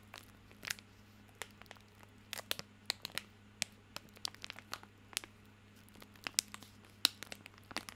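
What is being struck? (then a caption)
Plastic film wrapper on a soap bar. A small bar of soap in a crinkly plastic film wrapper is held in both hands while fingertips scratch and crinkle the wrapper. Quiet, bright crackles and sharp crinkles come in irregular bursts over a low, steady hum.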